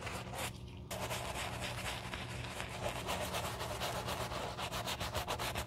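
A black leather shoe held in a gloved hand has its foamy upper scrubbed with a wooden-handled horsehair brush. Steady, rhythmic bristly rubbing and scratching strokes carry broadband hiss with a low hum underneath. A brief quieter pause comes near the start.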